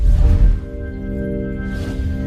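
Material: Nothing is struck.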